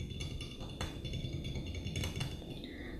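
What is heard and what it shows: Both hands grip a medium green glass Mason jar with an embossed pattern and a metal screw lid, filled with green contents and resting on a wooden table, while the fingertips and nails tap on its glass walls. Quick, soft, bright clicks with very short ring come in a steady patter over a continuous low rumble.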